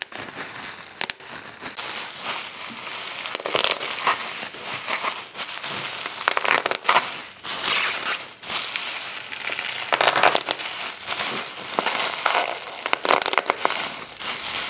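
Fingers pinch a heap of clear plastic bubble wrap, and a hand grabs and crushes it to pop the bubbles. The result is a steady, dense stream of sharp, bright pops and crinkling crackles with no low end, and each snap dies away almost instantly.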